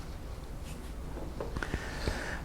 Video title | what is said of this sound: Grayson College EMT Training Online - Chest Trauma | as I percuss the back, it sounds hollow